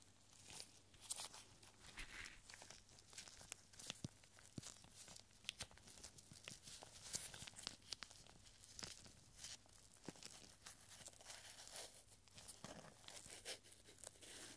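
A tiny rolled scroll of thin, light paper is picked up with gloved fingertips and unrolled between both hands. Quiet, bright crinkling and crackling come in dense bursts of sharp, dry ticks over a faint low hum.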